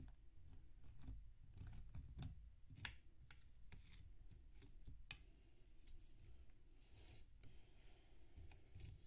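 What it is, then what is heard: Packed damp sand block. A metal knife scrapes and slices crunchy chunks off a large, solid mound of packed damp sand resting on a metal tray, while the other hand's fingertips hold the block. Quiet, gritty scraping and crisp crunching cuts repeat throughout, with bright crackly transients over a steady low rumble.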